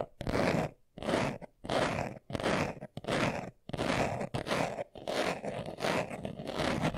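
A hand-sized, hollow, closed brown leather-covered glasses case, held in both hands, is scratched fast with short nails and fingertips. Its surface gives dry, crunchy rasping strokes in quick bursts separated by brief pauses, with a bright hiss over a low-mid body, and the scratching runs on continuously toward the end.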